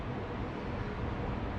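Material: Nothing is struck.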